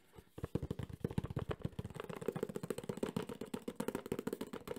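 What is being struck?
Cardboard box.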